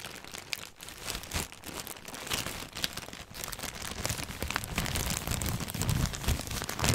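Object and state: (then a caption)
Clear plastic bag. A thin clear plastic bag holding white packages is crinkled and squeezed with fingertips close to the microphone. Dense, irregular crackling and rustling runs throughout, with bright sharp crinkles over a low handling rumble. The sound grows slightly louder toward the end.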